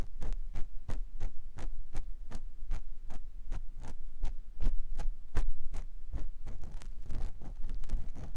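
A clear silicone ear pick scratches inside the canal of a white silicone ear mounted on a binaural microphone block. Steady, regularly spaced scraping strokes with short bright clicks ride over a deep, muffled low rumble, growing denser and busier toward the end.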